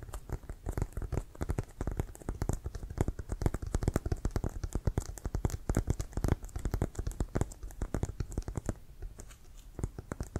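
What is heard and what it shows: Fingertips and nails tap and scratch quickly across the panels of a full-size, inflated, hollow brown Wilson composite leather American football with laces, held in front. A dense run of short, dull, low thumps comes with faint, bright scratchy ticks, each tap dying away almost at once.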